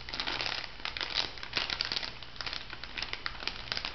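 A pink laminated foil-and-plastic bath salt sachet is held up while fingertips and long nails crinkle and scratch it. The result is a steady stream of dense, bright crinkling and crackling with many quick, sharp clicks and little low end.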